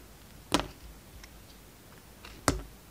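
A utility knife blade shaves and scrapes slices off a hand-held solid green and white striped soap bar with a red-gold strip around it. Two sharp, bright cracking cuts stand out, with faint soft scraping ticks between them in a quiet background. Each cut stops almost instantly, with no ring.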